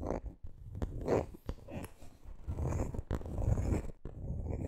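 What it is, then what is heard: Coated canvas handbag. Long green nails tap and scratch the coated canvas front of a handbag held upright. The sound is soft and low, with dull taps scattered through a steady, grainy scratching rustle.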